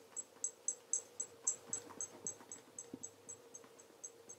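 A black leather REGAL tassel loafer is held on its side while cloth-covered fingertips rub its toe cap to a mirror polish. About 16 quick, rhythmic strokes make high, bright squeaks over a faint steady hum, fading slightly toward the end.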